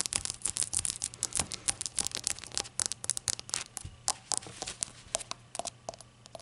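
Long acrylic nails tap and scratch a small, hollow, empty glazed ceramic novelty shot glass with a glossy glaze and a white unglazed base bearing a printed label. The result is a dense stream of quick, bright clicks and scratchy scrapes with almost no ring, over a faint low hum.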